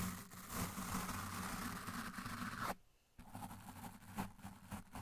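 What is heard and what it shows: The bristles of a blue plastic toothbrush scrub the side of a large, dark, soft, porous foam windscreen on a microphone, with the brush pressed on the foam throughout. The sound is a dense, continuous scratchy rustle heavy in the low end. It stops briefly near the middle and then resumes as uneven, rougher strokes.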